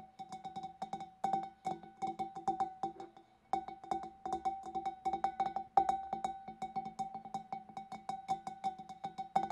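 Long dark nails tap rapidly inside the neck and along the rim of a large, clear, empty glass fish bowl. The light, uneven clicks each ring briefly with a steady glassy tone near 785 Hz and bright overtones, pausing for a moment partway through before the tapping resumes.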